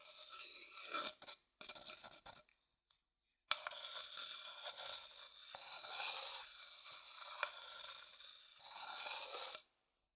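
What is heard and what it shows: A thin wooden stick stirs and scrapes around the inside of an empty, pale, hollow wooden bowl held in the palm. It makes a dry, bright rasping scrape with a few sharp ticks. After a short pause, the scraping resumes steadily and then stops.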